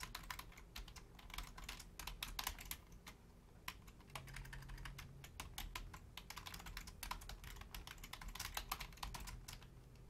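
Long painted nails and fingertips type steadily on a full-size black plastic Logitech keyboard with low-profile keys, making quick, bright, dry clicks and taps. Bursts and short pauses vary the rhythm, and a faint low hum rises briefly partway through.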